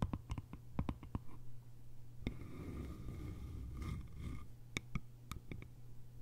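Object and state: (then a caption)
Bamboo lidded canister. Long nails tap the lid top of a small, round, hollow bamboo jar, then tap and scratch its sides. Quick, dry clicks with almost no ring come first, then a stretch of soft, rasping scratching, then more sharp taps. A steady low hum sits underneath throughout.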